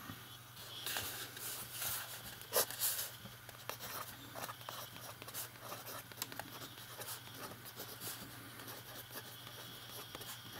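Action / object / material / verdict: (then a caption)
scrape / paper notebook page under a metal pen nib / paper / none. A metal fountain pen writes on a page of an open lined paper notebook, its nib scratching steadily across the paper in soft, bright, papery strokes. A faint low hum runs underneath, and the writing stays quiet throughout.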